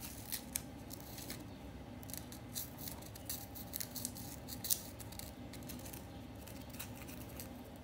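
A solid white-pink chunk of compressed powder bath bomb, in the bath, is scratched by several long nails. The result is a quiet, steady run of dry, gritty scratching with bright, crisp ticks and a few sharper clicks over a low, constant rumble.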